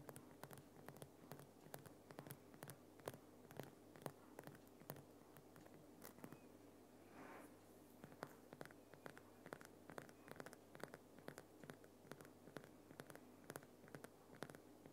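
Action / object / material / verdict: scrape / rock salt lamp / rock salt / none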